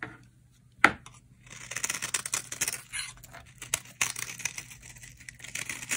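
A utility knife blade carves feathery shavings from the edge of a solid, dry green bar of soap held in the hand. A sharp click is followed by bright, dry scraping and crisp crackling as the blade slices through, with occasional sharper snaps, all at a quiet level.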